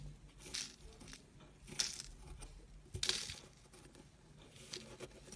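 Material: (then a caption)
Soap. A chunky white block of dried, chalky soap is held in fingertips with dark painted nails while a thin metal tool is pressed in and scraped across its crumbly surface, carving it so powder falls off. The result is quiet, bright, dry scratching and crunching with several sharper crisp scrapes standing out.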